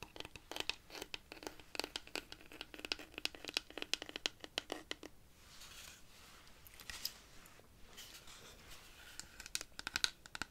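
A large hollow wooden rainstick made from dried cactus, held at an angle and scratched along its textured wood with long nails. Quick, bright, dry scratching clicks come in dense bursts for about five seconds. A softer, continuous hiss with scattered scrapes and clicks follows.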